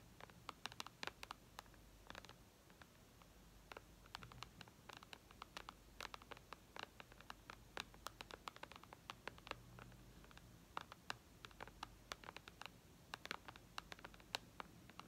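Long red nails tap rapidly on the glass screen of a white iPad lying flat, producing many sharp, bright clicks scattered irregularly over a quiet, low hum. Each tap is very short and dry, with no ring after it.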